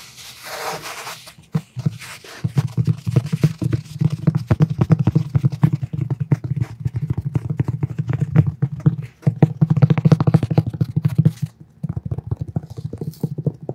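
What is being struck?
Cloth-covered hardcover book.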